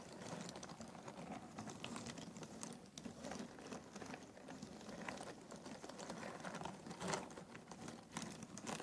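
A hand stirs cardboard jigsaw puzzle pieces in an open box and grabs them with its fingertips. The result is a steady, dense rustle of quick dry clicks and taps with bright transients, too close together to count.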